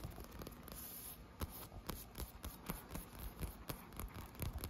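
Short nails scratch and tap the ribbed, textured surface of a blue inflated PVC pool float. A steady low scratching texture is punctuated by a series of dull, dry taps that die away almost instantly, with most of the sound sitting in the low end.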